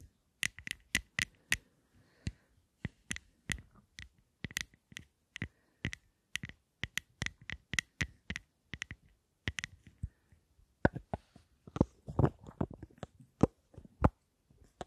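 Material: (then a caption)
Plastic, metal. Long nails tap and scratch a small rectangular lipstick case with a gold metal frame and black glossy panels. A steady run of sharp, quick-decaying clicks carries a faint ringing tone around 2 kHz. Toward the end, the taps turn busier and louder, mixed with brief scratching.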